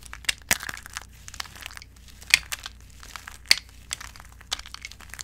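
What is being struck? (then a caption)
Broken bar-soap chips. Both hands with long acrylic nails squeeze and crush handfuls of brittle, dry white bar-soap chips in a bowl. The result is dry, bright crunching and crinkling with several sharp cracks over a quiet low hum.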